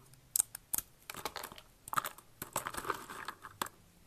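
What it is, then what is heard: Dry, brittle soap shavings. Fingers with long red nails press, snap and crush thin, brittle blue and pink dried soap flakes in a box. Sharp, bright crunches and crackles come in irregular bursts, with dense crinkling between the louder snaps.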